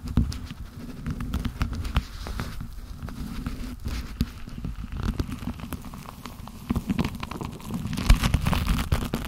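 Black leather-gloved hands grip and rub each other's fingers, producing a steady low, muffled rustling and creaking. Many quick soft taps and crackles are scattered throughout, and the sound swells louder and brighter near the end.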